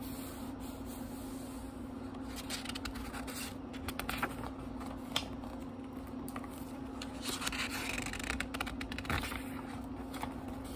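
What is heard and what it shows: Fingertips turn and flip the thin paper pages of a small, thick, solid book with a leather-like cover lying on a wooden table. Soft, continuous paper rustling is punctuated by brighter flaps and crisp swishes as pages fall over. A steady low hum sits underneath throughout.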